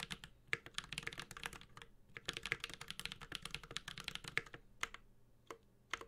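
A Space65 Cybervoyager 65% mechanical keyboard with an aluminum case, ABS keycaps and Holy Panda switches is typed on continuously with the fingertips of both hands. Quick, bright clicky taps arrive in dense bursts with short pauses, each one dying away almost at once.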